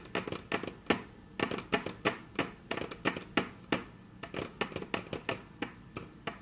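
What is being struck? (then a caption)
Wooden tabletop. Very long natural nails tap on a flat, solid, dark brown wood-grain tabletop in a quick, uneven run of sharp, bright clicks. Each tap has a crisp attack and a short, dry woody knock that dies away almost at once. Some taps land singly and others in quick flurries of two or three.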